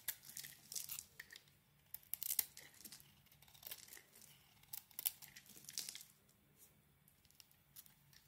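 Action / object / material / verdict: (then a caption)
scrape / solid bar of soap shaved with a thin metal blade / soap / none. A thin metal blade, held in one hand, shaves and scrapes curls off a palm-sized oval bar of solid soap with a dark red outer layer and a blue swirled inside, held in the other hand. Quiet, bright, crisp scraping and crackling bursts come in uneven clusters with short pauses. Soap shavings fall onto the table.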